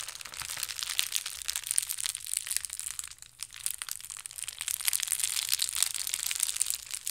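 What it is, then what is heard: Plastic mailer being crumpled. A soft, crumpled blue and white plastic shipping mailer is squeezed and crinkled with both hands. It makes a steady, bright crinkling and crackling with dense, overlapping rustles and no low end.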